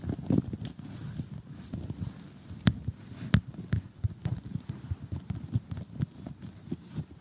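Short glittery gel nails tap on the pieces of an assembled cardboard jigsaw puzzle lying flat, its picture showing a blue sky and colorful houses. The result is a steady run of short, dull, low taps with almost no ring, with a few louder, sharper clicks that carry brighter highs.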